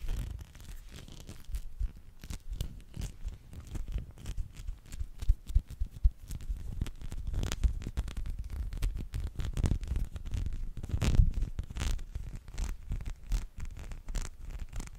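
Fingertips scratch and rub over the spikes of a small teal spiky rubber massage ball, likely hollow, held close to the microphone. It gives a dense run of soft scratchy rustles and short crackling taps over muffled low thumps, with brief brighter bursts now and then.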